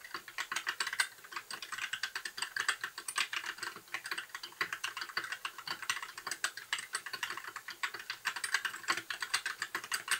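A compact white 60% mechanical keyboard with plastic keycaps and RGB backlight is typed on with the fingertips of both hands in continuous key presses. It makes a rapid, steady stream of short, sharp plastic clacks, centered in the upper mids with bright edges and no low end. Each keystroke dies away almost instantly.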